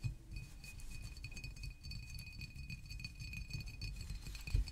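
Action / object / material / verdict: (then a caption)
tap / glass bottle / glass / none. A green glass San Pellegrino water bottle with a paper label, standing upright on a table, is tapped with fingertips and nails in a steady, rapid run of soft taps. Each tap gives a dull low knock with a faint, short glassy clink ringing high above it, and the final taps land a little harder.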